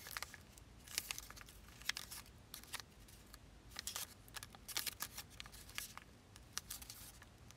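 A thin, folded zebra-print origami paper figure is lifted and bent between both hands as fingertips and nails rub and crease its layered paper. The result is a steady run of quiet, bright, crisp crinkles and sharp little crackles, with no low rumble.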